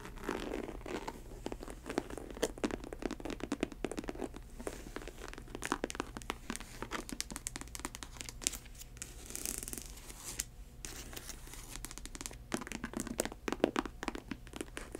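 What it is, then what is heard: Faux snakeskin ankle boot. An empty faux snakeskin ankle boot of snake-print synthetic leather is tilted in hand while long acrylic nails scratch and tap its upper and edge. Dense, dry scratching and crinkly tapping follow one another in quick, clicky bursts that die away almost instantly. A steady low hum sits underneath throughout.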